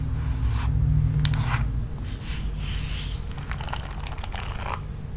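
Long nails tap and scratch the smooth red plastic back of a paddle hairbrush. The clip is a quick, uneven run of bright clicky taps and crinkly scraping strokes over a steady low hum.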